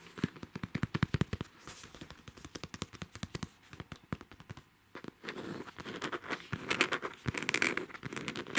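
Fingertips and nails scratch and pat the side of a medium, soft cosmetic bag made of black-and-white striped coated fabric or faux leather with a pink band, filled with makeup. Rapid, dry crackling taps and scratches run throughout with almost no ring, broken by a brief lull around five seconds. Denser, brighter rustling scrapes then build toward the end.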